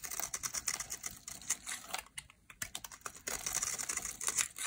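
A metal utility-knife blade shaves and scrapes flakes off the edge of a solid, rectangular, green, dry Dalan soap bar held in the hand. The result is a rapid run of crisp, bright, dry scratching and crackling ticks, dense and high-pitched with almost no low end. A brief quieter lull comes just past the midpoint before the scraping resumes.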